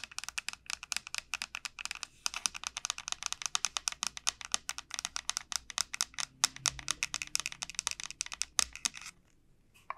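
Long painted nails rapidly tap and scratch the hard, hollow shell of a large, elongated dried bottle gourd lying on a felt mat. The result is a fast stream of bright, dry clicks and scrapes with almost no low end, each tap dying away instantly. The tapping breaks off briefly near the end before a few more taps.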